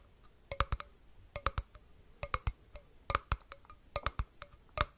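Fingertips tap a small, hollow glass jar with a flat metal lid, striking both the glass body and the lid. About 20 short, dry taps fall in quick clusters, each carrying a faint glassy ring near 600 Hz and 1.2 kHz. A quiet low rumble sits underneath.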